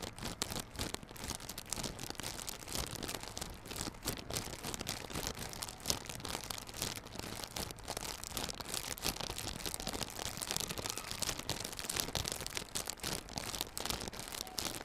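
A small, hollow yellow cardboard box for Realme Buds Classic earbuds, still sealed in clear plastic film, is gripped in both hands and pulled and squeezed. The film wrap gives a dense, continuous run of bright crinkling and tearing crackles, with a steady low hum underneath.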